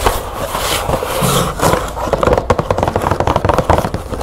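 Long nails scratch and tap the front panel of a green printed cardboard box holding light bulbs, held up in the air. The first half is a dry, papery scratching rustle, then a fast run of sharp, short taps with a hollow, mid-pitched cardboard knock.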